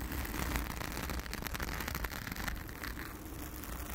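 Long acrylic nails of both hands scratch a blue foam windscreen covering a round studio microphone. The result is a steady, dense rustling crackle with a heavy low rumble underneath and brighter scratchy texture on top, holding a fairly even level throughout.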